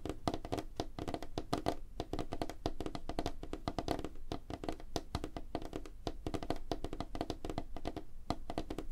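Both hands tap rapidly on a large, flat, solid light-wood tabletop with fingertips and short nails, producing a dense, continuous stream of short, dry taps and thunks. The hits are heavy in low thump, with a hollow woody tone around 690 Hz and almost no ring after each tap.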